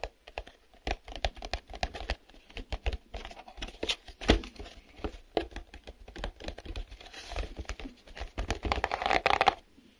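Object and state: Printed cardboard box.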